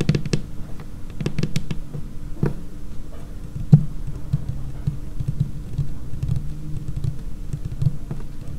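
Long painted nails tap quickly across a large, solid, dark laminated tabletop, making a steady patter of soft, short, low-pitched clicks. Some clicks carry bright, sharp edges, and one stronger tap near the middle stands out above the rest.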